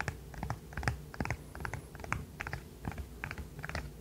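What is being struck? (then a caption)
Segmented plastic fidget toy. A hand-sized, rainbow-colored, segmented plastic widget fidget toy is held in one hand and tapped and clicked with the fingernails of the other hand. Short, sharp plastic clicks and taps come in an uneven series over a steady low hum. Each click dies away almost at once.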